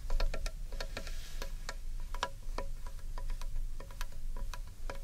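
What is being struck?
Carved wooden bowl.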